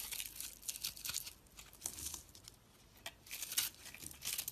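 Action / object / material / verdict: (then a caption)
scrape / dried soap bar / soap / none. A utility knife blade scrapes and shaves crumbly flakes off the surface of a dried, porous, solid purple and pink striped bar of soap held in the hand. The sound is a run of bright, crisp, crackling scratches in short bursts, with almost no low end and quick gaps between strokes.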